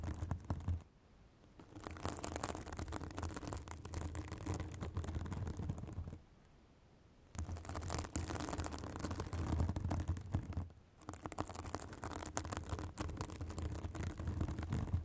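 A white fibrous synthetic bath sponge, held above a microphone, is scratched with long acrylic nails. This makes a dense, crackling scratch with a low rumble and a bright, hissy top. The scratching comes in four long passages separated by short near-silent pauses.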